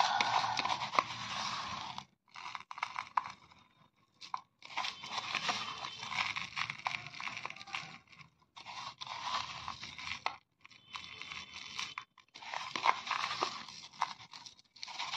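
Bare fingers grab, squeeze and rub crushed green crystalline para mothball granules from a pile of powder in a black bowl, working them in the palm. Dense, bright, gritty crunching comes in several long bursts separated by short quiet pauses, with fine crackling crunches throughout.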